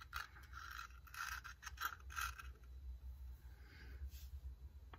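Fingertips with dark painted nails rub and scratch along a long, hollow wooden incense box with carved grooves and a perforated lid, held in hand, and handle the lid while incense is placed inside. Soft, irregular scraping and scratching strokes carry a bright tonal edge in the first half, then fade into quieter rubbing over a steady low hum.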